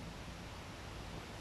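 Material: Nothing is struck.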